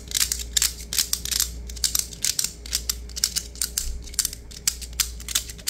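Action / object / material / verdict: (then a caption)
scrape / plastic diamond-mesh net sleeve / plastic / none. A green plastic diamond-mesh net sleeve is flattened and stretched between the fingers, then rubbed and scratched with fingertips and nails. It makes a rapid, uneven run of short, crisp, bright scratching bursts over a faint steady low hum.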